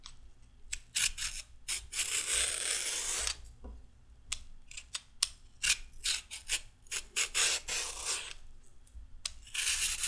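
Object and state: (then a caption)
Raw carrot being peeled. A metal peeler scrapes a thinning raw carrot in repeated peeling strokes. Each stroke is a bright, raspy scrape: some are short and quick, others longer and drawn out. Quiet gaps separate the strokes, and a faint low hum runs underneath.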